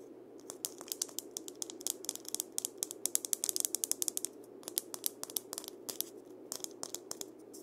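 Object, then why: Dried gourd maraca shell. A single hand-sized, hollow dried-gourd maraca with a wooden handle and a painted parrot, likely filled with seeds, is held in both hands while fingertips and nails tap and scratch its shell. The result is a quick, irregular run of many short, dry, bright clicks and ticks, like a ratchet, with no ring and a faint steady hum underneath.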